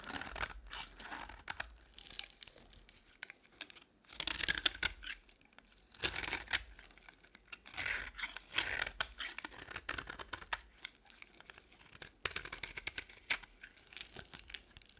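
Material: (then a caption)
Soap. A utility-knife blade scrapes flakes off the surface and edges of a solid beige bar of dry soap. Bursts of crisp, bright scraping and crunching strokes come in quick runs separated by short pauses, with little low end and almost no ring.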